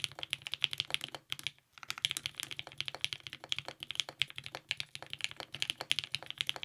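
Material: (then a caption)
ABS plastic. A compact TGR 910 RE mechanical keyboard with lubed 55g Nixie switches, a polycarbonate plate and purple GMK ABS keycaps is typed on continuously with the fingertips of both hands. Rapid, crisp, bright clicks with very short decay cluster around 3 kHz, with almost no low end. Typing pauses briefly near 1.6 seconds, then resumes at a steady pace.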